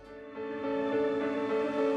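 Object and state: Nothing is struck.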